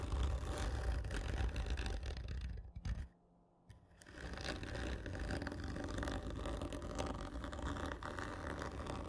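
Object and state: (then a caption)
Cardboard tube scratched with fingernails. Long fingernails scratch the top of a large, hollow, black printed cardboard whisky gift tube lying horizontally, producing a steady, rough scraping with a deep, hollow low rumble. The scratching drops to near silence for about a second partway through before resuming at the same dense, gritty pace.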